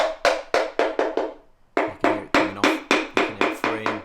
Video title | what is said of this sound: BMW 318d N47 Diesel Timing Chain – Sump & Timing Cover Removal (Part 5) | the sound changes as you're tapping it